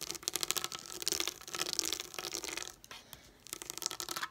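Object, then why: Plastic dome sticker sheet. Long nails tap and scratch the plastic domes of a pop-up dot sticker sheet lying flat on a table. Rapid, crisp, bright clicks and dry scratchy rustles come in dense bursts, with a quieter stretch in the middle before the tapping picks up again.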